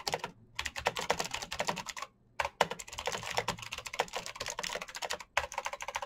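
Both hands type fast with their fingertips on a full-size black plastic Razer mechanical gaming keyboard with green switches, RGB backlight and hollow keycaps. Dense bursts of sharp, bright clicky keystrokes sound in quick runs, broken by two brief pauses, each click dying away almost instantly.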